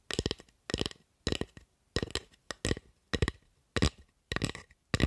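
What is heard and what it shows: Long acrylic nails tap and scratch the surface of a solid, light wooden spatula. Nine short, separated bursts of quick clicky taps and scratches have a low woody knock underneath and a bright, crisp top, each fading almost at once.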